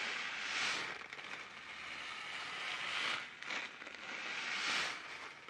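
A sealed, filled-looking orange plastic-film Taiyo snack packet is held up and crinkled, twisted and shaken by hand with the fingertips. It makes a continuous, bright crackling rustle that swells louder in several waves, with almost no low end.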